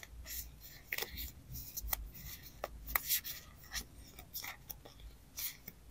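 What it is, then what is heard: Paper sticker stack. A thick, solid, layered stack of die-cut paper stickers with girl illustrations is held in both hands while long acrylic nails and fingertips rub, riffle and scratch through the sticker edges. The result is a bright, papery rustling and scraping, punctuated by sharp, quick clicks and ticks from the nails catching the edges, over a faint low rumble.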